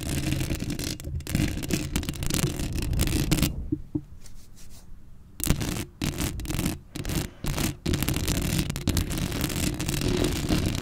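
Long acrylic nails scratch across a black metal mesh microphone head, making a dense, raspy scraping with a heavy low rumble and bright hiss. The scratching drops to a quiet pause midway, then returns in choppy bursts before settling back into steady rubbing.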